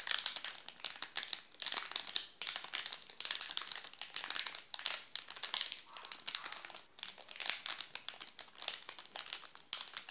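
Fingertips scratch and pinch the red-and-blue plastic film wrapper of a wrapped Nestlé chocolate bar, making it crinkle. Dense, bright crinkling and crackling fills the clip in quick, dry bursts with almost no low end.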